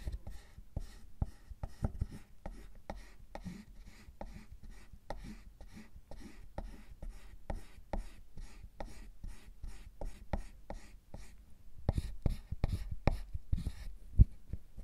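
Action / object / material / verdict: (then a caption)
scrape / milk chocolate bar / chocolate / none. A pointed metal tool with a wooden handle and a metal loop tool scrape and gouge the surface of a solid milk chocolate bar resting on a bamboo mat, producing shavings. A steady run of short, dry scratching strokes and soft low knocks is heard, each dying away almost at once. The strokes grow sharper and louder toward the end.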